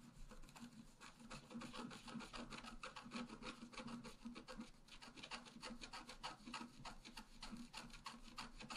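A wooden stylus scratches the flower in the center of a flat, black-coated scratch-art paper card. Quick, uneven strokes make a steady, dry rasping scratch at about three strokes per second, with a bright papery hiss over a soft low hum. The sound stays quiet and close throughout.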